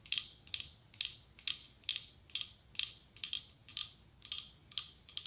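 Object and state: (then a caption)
Glass candle holder tapped with nails. Long acrylic nails tap and scratch the side of a medium cylindrical glass candle holder decorated with autumn leaves, with a white candle inside. A quiet, steady run of quick, paired clicks sounds bright and high with a faint brittle rasp. Each tap dies away almost at once, with no low-end body.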